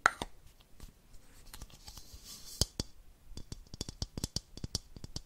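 A small, hollow, empty clear plastic baby bottle with a yellow collar and a clear cap is held in one hand and tapped and scratched along its body with long fingernails. The result is a quiet, irregular run of sharp, dry clicks with very short ring, mixed with faint, bright scratching between the taps.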